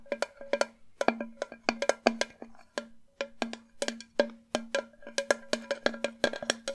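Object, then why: Enamelled metal jug. Long nails tap rapidly on the base and body of a hollow, empty white enamel metal jug vase. It makes a quick, irregular run of sharp, bright clicks. Each click carries a short hollow metallic ring pitched around 230 Hz, with a fainter overtone near 600 Hz.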